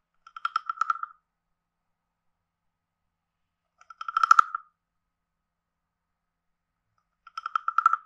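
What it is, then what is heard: Wooden frog guiro. A hand-sized carved hollow wooden frog guiro with a ridged back is played with a wooden stick that taps and scrapes along the ridges. Three short rattling bursts of rapid clicks come at intervals, each with a hollow woody tone centred around 1.3 kHz and bright edges. Each click dies almost instantly, leaving silence between the bursts.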